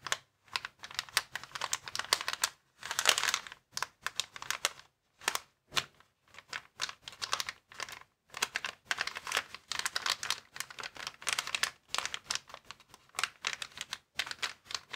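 Fingertips of both hands rapidly tap and scratch a flat, clear plastic air-column packaging bag lying on a wooden table, in a quick typing-like motion. The result is a dense run of crisp, bright plastic clicks and crinkles in short bursts separated by brief pauses, with almost no low end.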